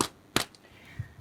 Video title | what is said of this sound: No-Knead Crusty Bread (based on excerpt from Artisan Bread in 5 Minutes) | when we knock on it, it sounds hollow